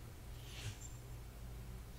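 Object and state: Nothing is struck.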